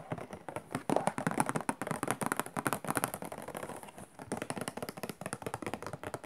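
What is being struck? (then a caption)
Cardboard tissue box. A hollow cardboard tissue box with a macaron print has its side scratched and tapped with fingertips and long nails. Quick, dry taps and scratches come in dense bursts with a short pause near the 4-second mark.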